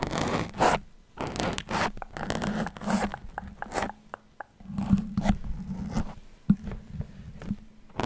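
Fingers with long nails pull and wiggle many metal pins stuck into a red foam microphone windscreen, scraping the foam surface. Close, dry scratching and zipper-like rasps come in uneven bursts over a low steady hum, with short sharp clicks where pins snap free.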